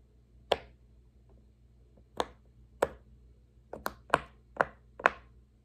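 Fingertips press the hollow bubbles of a large, square, rainbow silicone pop-it fidget toy resting on a wooden table. Seven sharp, bright pops come at irregular intervals, with a long pause after the first and a faster cluster near the end. Each pop cuts off almost instantly over a faint low background hum.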